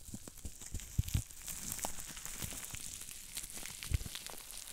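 Fingertips squeeze a large sheet of green plastic bubble wrap, popping its small bubbles. Sharp, dry pops ring out over a steady crinkly, crackling rustle of plastic, with a few louder snaps standing out near the start and end.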